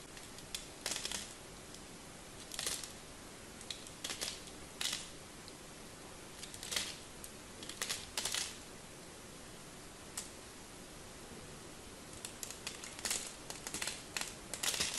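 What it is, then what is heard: Bar of soap being carved. A small black craft knife carves and scrapes a palm-sized, solid pink-and-white striped bar of soap held in one hand, and soap shavings fall away. Short, bright, crisp scraping bursts come in irregular clusters over a steady faint hiss.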